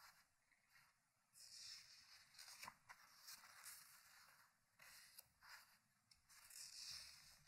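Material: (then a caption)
Paper. Fingertips lift and turn single paper pages of a large, thick, open hardcover book lying on a wooden table. Quiet, bright paper rustles and swishing rubs rise and fade in soft bursts, with almost no low end. The clip ends with a page mid-turn.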